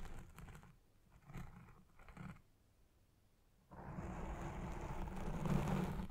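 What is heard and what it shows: Long red nails scratch the lower edge of a black foam windscreen on a microphone. Soft, low, muffled scraping bursts come in the first couple of seconds, then a brief hush. Then a louder, denser continuous rubbing builds to the end.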